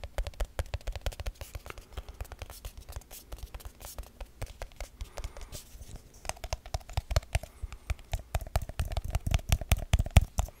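A small, round, hollow silver aluminium tin can, held in the hand, is tapped and scratched with fingertips and nails. Quick, irregular taps land as dry, low-heavy thumps with almost no ring, mixed with light scratching. The tapping grows denser and louder toward the end.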